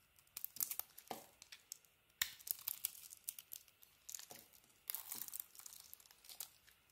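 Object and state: Bar of soap being scraped.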